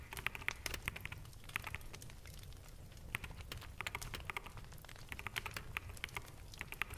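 Fingertips of both hands type on a full-size black mechanical keyboard with plastic keycaps, making quick, bright clacks in uneven bursts with a brief lull in the middle. A steady low hum sits beneath the keystrokes throughout.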